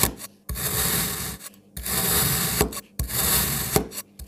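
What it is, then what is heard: Kinetic sand block being cut. A black kitchen knife slices and dices a solid red and green kinetic sand block, with the pieces pushed and cut. Long, crunchy, granular strokes with a bright, gritty hiss are separated by brief quiet pauses.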